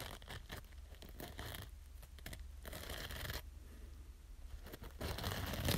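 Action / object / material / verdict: scrape / foam kitchen sponge with green scouring pad / foam / none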